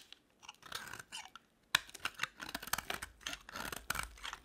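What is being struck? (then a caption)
Bar of soap. A box-cutter blade shaves crumbly chunks off a solid beige bar of dry soap held in the palm. Crisp, bright crunching and scraping comes in a quick series of dry cuts, with a sharp louder slice partway through and no ring after each one.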